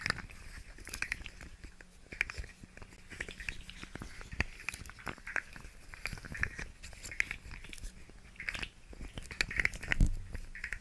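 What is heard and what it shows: Long nails tap and scratch a hand-sized, segmented rainbow plastic fidget slug toy, making its segments click. Quick, irregular, dry clicks and scratchy taps with bright high edges sit over a soft low rumble. The taps stay quiet overall, with a louder burst near the end.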